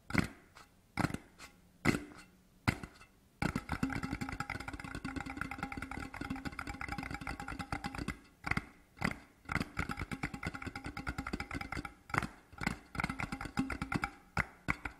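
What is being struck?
Cardboard tube.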